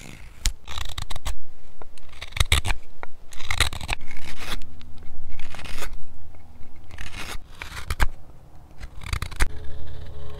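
A steel hook knife scoops and scrapes the inside of the partly hollowed bowl of a hand-held solid wooden spoon, cutting shavings. Repeated bursts of rough, bright scraping are broken by short pauses and sharp clicks over a low rumble.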